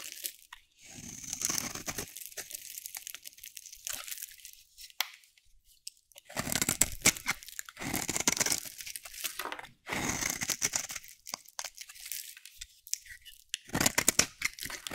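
A solid bar of dry pink soap, held in the hand, is shaved with a metal utility blade. It gives bursts of dry, bright scraping and crunching as flakes peel off, with short quiet gaps between strokes.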